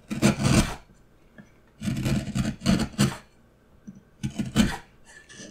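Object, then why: Pine wood block scraped with a steel gouge. A steel carving gouge, held in the hand, cuts and scrapes a solid, light pine wood block stood on its side. Short rasping, scraping strokes come in irregular bursts separated by brief pauses, with a low woody body and a bright, scratchy edge that stops dead after each stroke.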